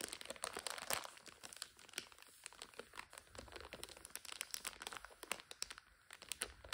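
Long nails scratch and crinkle the plastic overwrap of a full instant noodle multipack. The result is a dense, bright run of crackly crinkling with quick, sharp ticks and scratchy rustles. It is quiet overall with almost no low end.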